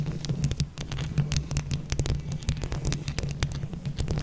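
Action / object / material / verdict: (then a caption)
scrape / mesh microphone head covered in plastic buttons / plastic / none. Long yellow and leopard-print acrylic nails on both hands scratch and tap a hollow mesh microphone head covered in plastic flower buttons. The result is a dense, steady patter of quick clicks and scrapes over a heavy, muffled low throb, with a few brighter ticks cutting through.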